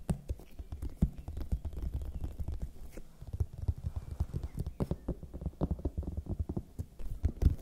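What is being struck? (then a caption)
Whole raw bell pepper. Long nails tap and lightly scratch a large, whole, raw red bell pepper, hollow and waxy-skinned. The result is a quick, irregular run of soft, dull, low-pitched knocks that die away instantly, with faint scratchy rustles in between.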